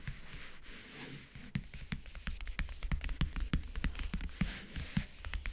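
Long painted nails tap and scratch rapidly across the lid of a closed, hollow backgammon case covered in map-print faux leather (leatherette). After about a second and a half of soft scratching, about 25 quick, irregular taps follow, each a short, dry click over a low, hollow thud that dies away almost at once. Bright scratchy hiss runs between the taps, and the whole clip stays quiet.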